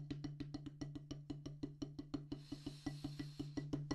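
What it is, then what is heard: Rubber drum practice pad on a wooden base. Two wooden drumsticks tap a solid black rubber practice pad on a wooden base in a quick, steady run of about 20 soft, dull thuds. Each hit carries a low, short-ringing tone near 141 Hz that dies away fast. About halfway through, a faint bright hiss rises behind the taps.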